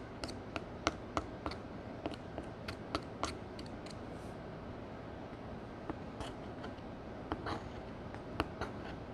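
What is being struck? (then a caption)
Pressed powder eyeshadow in a palette, scraped with a metal spatula. A metal spatula scrapes and breaks pale pressed powder eyeshadow squares in a black palette into crumbly pieces. Sharp, bright clicks and scratchy taps stand out irregularly over a steady low crumbling rustle.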